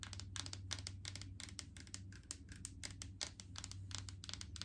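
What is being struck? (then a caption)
Plastic jar of coconut oil. Long painted fingernails tap rapidly on a large clear plastic jar full of coconut oil with a green lid. The taps come as quick, dry, bright clicks with almost no ring, over a steady low hum.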